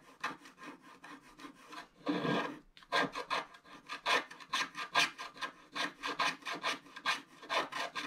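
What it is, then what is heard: Scratch art paper being scratched. A wooden stylus scratches the remaining black areas of a solid, black wax-coated scratch art card lying flat. About two dozen short, bright, raspy strokes follow one another at an uneven pace, with one longer continuous scrape partway through.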